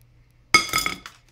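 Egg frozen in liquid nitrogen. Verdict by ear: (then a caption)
Solid. An egg cracked into liquid nitrogen and frozen hard as a rock, looking like a cooked egg, is struck and gives four bright, glassy clinks ringing around 2.2 kHz. It shatters into little pieces that fly everywhere.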